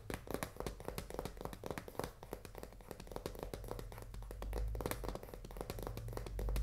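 Long nails tap rapidly across the front face and edge of a full cardboard pasta box held horizontally. The result is a dense run of quick, dry, hollow taps with almost no ring. A low rumble swells underneath toward the end.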